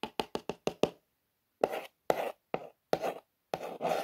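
Long nails tap six times in quick succession on a printed cardboard toy box with Air Bus lettering. They then trace and scratch along the text in several longer, dry, papery strokes with a mid-range rasp.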